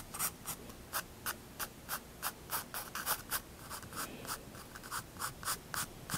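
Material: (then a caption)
Paper. A pencil tip draws fine details on a white drawing-paper sheet in a sketchbook, making a quick, uneven series of short, dry scratching strokes. Each stroke is a brief bright rasp over a quiet background.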